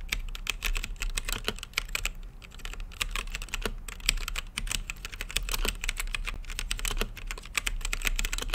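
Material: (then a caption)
Plastic. Fingertips type continuously on a plastic mechanical keyboard with plastic keycaps on a translucent acrylic case. The result is a steady stream of short, dry, bright clacks with almost no ring, over a low hum underneath.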